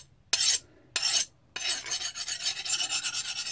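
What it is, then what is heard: Hardened steel knife blade, file skates. A file is run back over a forged, hardened steel knife blade, giving two separate bright rasping strokes followed by a quicker run of scraping strokes. The file skates across the surface rather than biting in, showing the heat treatment worked the first time.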